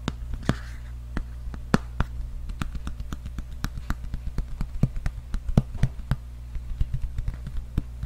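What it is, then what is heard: Hardcover book tapped with fingertips. A large, solid red hardcover book with a cardboard cover is held upright and tapped and scratched with fingertips and nails. A steady series of short, dry taps and clicks that die away almost instantly is heard over a constant low hum, with brief soft scratchy rustles between some taps.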